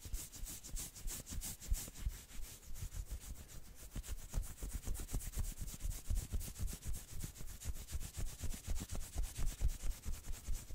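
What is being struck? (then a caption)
Knit fabric sweater sleeve. Long nails scratch fast along the forearm of a dark red and black knit sweater sleeve held out across the body. About 30 quick, rhythmic scratchy rasps repeat steadily, with a bright fabric hiss over a soft low rumble. The scratching lasts about 11 seconds.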